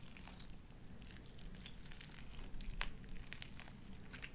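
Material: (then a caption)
Slime. Light-blue wet, sticky slime with white beads is pressed between palms and pulled apart by hands into stringy strands. Quiet, irregular squelching runs throughout, with crinkly, bright popping clicks over a low, soft rumble.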